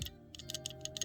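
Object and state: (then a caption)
Graded card slab with the card loose inside. A PSA-graded plastic slab holding a 2000 Worlds Collection Pikachu card is shaken, and the loose card rattles inside because PSA uses no inner sleeve. About six quick, bright plastic clicks ride over a faint steady low hum. The card moves freely in the holder, which could damage it.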